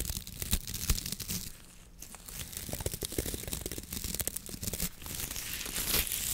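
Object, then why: Coconut fiber wok brush with wooden handle. Gloved fingers scratch and squeeze the stiff coir bristle head of a coconut fiber wok brush with a wooden handle. The result is a dense, irregular run of dry, crackling scratches and crunches, bright and papery on top with a soft low rumble underneath. It briefly quiets near the two-second mark before building up again.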